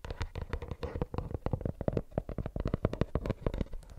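A plastic earbuds case is tapped rapidly with the nails, giving a steady stream of quick, dry clicks and soft knocks. Each tap is short with a dull, low-weighted body and dies away at once with no ring.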